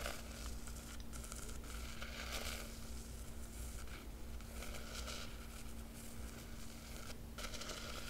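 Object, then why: Cloth-covered hardcover book with embossed emblem. A long fingernail traces the embossed silver foil dragon emblem on the black textured cloth cover of a large square hardcover book. A quiet, continuous scratchy rustle and crinkle runs throughout, with brighter scraping bursts over a steady low hum.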